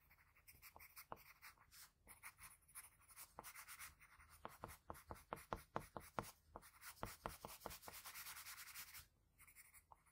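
A graphite pencil rubs and shades the lips of a drawing on a flat sheet of white drawing paper, using both the tip and the side of the lead. Quiet, bright, scratchy strokes come in quick, uneven bursts, with longer hissing passes of steady shading between the short, dry scrapes.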